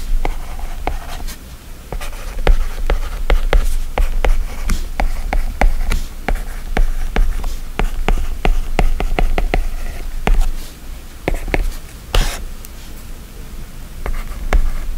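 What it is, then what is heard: Stylus writing on a glass tablet screen. The plastic tip of an Apple Pencil writes text strokes on the glass screen of an iPad running a drawing app. Quick, dry taps and light scratching clicks come in a steady run, each dying away almost at once. A constant low hum sits underneath throughout.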